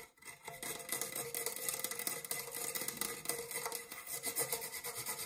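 Fingernails scratch along the ribbed side wall of an empty, dark metal springform cake pan held on one palm. The result is a continuous bright, raspy scraping with rapid ridged ticks and a faint metallic ring.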